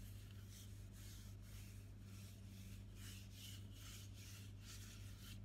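A tall green plastic body mist bottle, filled with liquid and held upright, has its printed sides rubbed and scratched with fingertips and nails. The result is a soft, continuous, irregular scratchy rubbing over a steady low hum.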